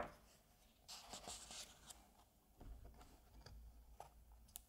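Fingertips rub the edge of a page in an open Asterix comic album and flip the paper page over. Soft, quiet rustling and brushing sounds with bright crinkly swishes and a few light taps fill the short clip.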